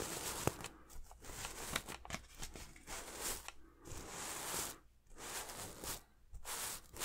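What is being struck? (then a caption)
Sequin-covered throw pillow. A hand sweeps and rubs across a red and silver reversible sequin throw pillow with a heart design. The sequins give bright, crackly rustling in repeated bursts, separated by short, quiet pauses.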